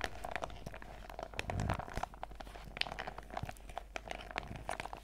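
A printed clear PVC zip pouch full of sachets is held in the hands while fingertips and nails squeeze and scratch along its top edge. The result is a soft, continuous stream of crinkly plastic crunches and sharp scratchy ticks, with a faint steady low hum underneath.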